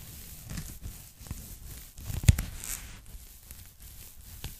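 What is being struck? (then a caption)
Polyethylene foam packing bag. A pink polyethylene foam packing bag, folded flat and held in both hands, is tapped and scratched with long nails across its surface. Soft, muffled, low-heavy scratches and taps with a faint crinkly hiss run throughout, with one sharper, louder tap near the middle.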